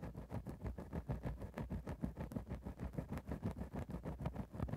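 A thin bamboo ear-pick rapidly scratches and pokes a grey synthetic faux-fur microphone windscreen. The result is a dense, steady stream of soft, low, muffled scraping bursts with a rumbling, close-up quality and little brightness.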